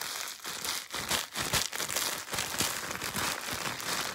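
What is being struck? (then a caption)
Plastic bubble wrap. A large, thin, clear sheet of plastic bubble wrap is gathered into a bundle and twisted and crumpled between both hands and fingers, popping and crinkling its air bubbles. The result is a steady, bright crinkling texture broken by irregular sharp pops, with little low-end weight.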